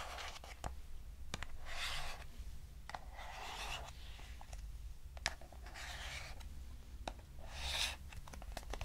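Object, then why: Small cardboard box. A small, square, hollow lavender-grey cardboard box is held in the hand and tapped and scratched with long nails. Sharp, dry taps alternate with longer, bright scratching strokes over a low steady hum.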